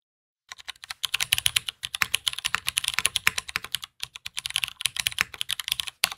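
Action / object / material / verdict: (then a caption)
tap / mechanical keyboard with aluminum case and plastic keycaps / aluminum, plastic / none. Both hands type with their fingertips on a black anodized aluminum tenkeyless Matrix 8xv2.0 mechanical keyboard, built with a polycarbonate plate, Cherry MX Brown switches and GMK ABS keycaps, resting on a desk mat. After half a second of silence comes a fast, steady stream of crisp, bright keystroke clicks with very little low end. The typing pauses briefly near the 2, 4 and 6 second marks.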